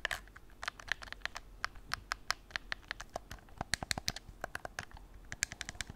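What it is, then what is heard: Plastic game controller. A white, hollow, hard plastic PS4 gamepad is held in both hands while its buttons are clicked and its surface is scratched with fingertips and nails. A rapid, irregular string of short, dry, bright clicks rises over a faint continuous scratching hiss. Each click stops instantly with no ring.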